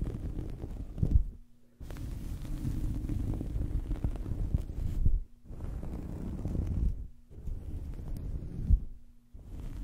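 Long fingernails of both hands scratch and rub a small, soft fabric towel draped over a microphone. The result is a dense, muffled, low-pitched rumbling and scuffing, coming in long bursts separated by brief quiet pauses.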